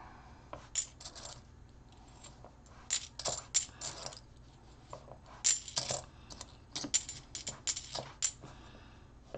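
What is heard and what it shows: Fingertips sort and slide half dollar coins off a small stack on a rubber coin-counting mat; the solid metal discs are likely clad copper-nickel, though some could be silver. The coins clink and drop against each other and onto the mat in scattered bursts of bright, high metallic chinks that die away almost instantly, with quiet pauses between.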